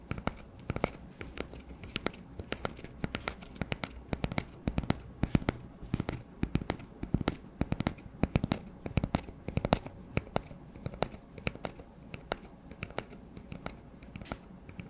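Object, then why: Cardboard paper towel tube. An empty, hollow brown cardboard paper towel roll is held in one hand and tapped quickly with the fingertips of the other. The result is a rapid, irregular stream of short, dry, hollow taps with a low, muted body and very little ring, plus faint papery scratching between them.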